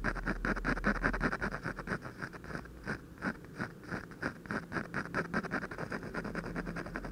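The tip of a ballpoint pen scratches short hatching strokes on the lips of a portrait drawn on a thin white paper sheet. It makes a rapid, uneven run of soft, dry scratches, with brief pauses between bursts of strokes. Each scratch is quick and close, with a light papery rasp and a faint low hum beneath.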